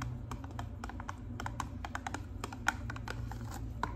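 Long pink nails tap quickly on a hollow pink and white cardboard hair color box, held beside the face with its top flap open. A rapid, uneven series of light, dry clicks with almost no ring sits over a steady low hum.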